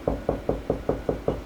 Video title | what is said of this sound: Man Says He Can't Find Wall Stud Then Does It Anyway/DIY for Beginners | lower Hollow pitch means there's nothing there